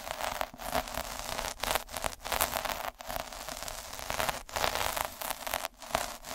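A hand rolls a metal-needle derma roller back and forth over a red felt sheet lying on a dark table. It makes a dense, bright, scratchy crackle, like static, with little low end. Short gaps appear where the roller changes direction or lifts.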